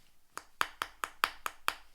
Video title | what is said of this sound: Antique Antics - How to Recognise Restoration in Porcelain | rather than a sharp tap there's a slight thud